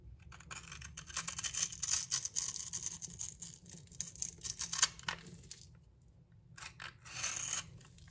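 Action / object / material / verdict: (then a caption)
scrape / coated bar of soap scraped with a metal blade / soap / none. A metal utility knife blade scrapes and shaves the bronze paint and purple glitter coating, and the soap beneath, off a hand-sized solid bar of soap held in one hand. Dry, bright, crackly rasps come in quick bursts, fading into a short quiet stretch before one last scraping burst near the end.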